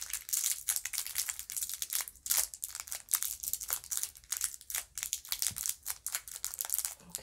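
Fingertips and long nails press and crinkle the clear cellophane wrapper of a small red lollipop on a white stick with a paper tag. The result is a steady stream of dense, bright crinkling and crackling that rises and falls in quick bursts. There is almost no low end.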